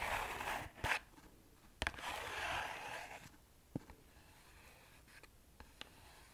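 Fingertips and nails scratch and tap the surface of a small, flat, hollow printed cardboard box of Satya incense held up close. Bright, rasping scratches come in stretches, broken by several sharp, dry taps that die away almost instantly over a quiet background.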